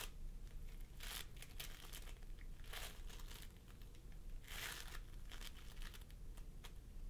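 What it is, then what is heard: Floam sculpting foam being squished. Fingertips of both hands press and squish a pastel mound of floam sculpting foam, made of polystyrene beads, on a wooden table. Bursts of bright, crackly crinkling and sticky popping come and go over a steady low rumble.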